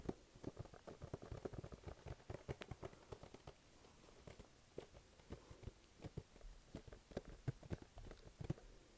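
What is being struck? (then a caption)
Printed cardboard box. Fingertips tap and stick-pull across the front face of a hollow, glossy pink printed cardboard box held in both hands. Quiet, dull low thumps mix with short, bright sticky peeling clicks that die away almost instantly. A brief lull falls in the middle before the tapping picks up again.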